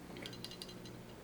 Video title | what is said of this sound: How to Put a Glock Slide Back Together. Glock 17, Glock 19, etc. | shake it back and forth and you should hear that firing pin